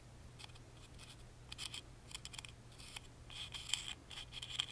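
A wooden toothpick taps and scratches along the carved front panel of a small, hollow, laser-cut wooden music box with a lattice pattern, held in one hand. Quiet, bright, dry ticks and scraping rasps come in short bursts, some with a faint tone near 3 kHz, over a steady low hum. The bursts grow denser and sharper toward the end.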